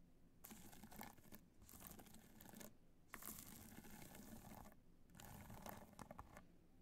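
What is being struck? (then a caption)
Hard-shell clutch covered in rhinestones. Long nails scratch and tap across the top of a hollow black hard-shell clutch covered in multicolor rhinestones, resting on white fur. Soft, bright, gritty scratching comes in several bursts separated by short pauses, with faint clicks as the nails catch on the stones.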